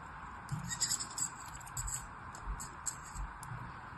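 A black knife blade slices and scrapes across the top of packed red and white kinetic sand in a teal plastic cupcake mold held in one hand. Soft, gritty crunches and scrapes come in short bursts with a bright, high hiss over a steady low background.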